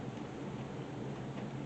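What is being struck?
Nothing is struck.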